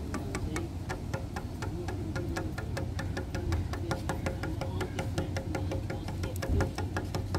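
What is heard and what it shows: Grey, weathered solid wooden bench slats outdoors are tapped rapidly with fingertips and short nails along one slat. A quick, steady run of short, dry clicks with bright edges plays over a constant low rumble, with a faint steady tone underneath.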